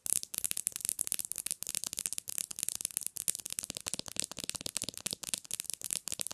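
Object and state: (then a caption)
Smartphone glass screen tapped with nails. Long nails tap rapidly on the glass screen of a black smartphone lying screen-up on a pillow. The result is a dense, fast stream of sharp, bright, clicky taps with almost no low end and no ring after each hit.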